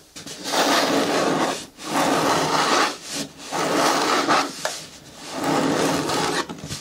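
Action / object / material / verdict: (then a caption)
scrape / hard plastic bin with lid / plastic / none. Long natural nails scratch and rub along the side walls of an upright, hollow, green hard plastic bucket with a lid. Five sustained, raspy scraping strokes are separated by brief pauses, with a dry midrange texture, a little brightness and almost no low end.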